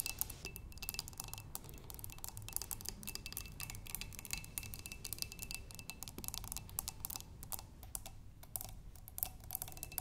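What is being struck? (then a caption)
Glass flower vase with water. Long nails tap and scratch the curved sides of a clear glass vase holding water and green tulip stems. The result is a dense, quiet stream of bright, clicky taps with very short ring and scratchy hiss over a steady low rumble.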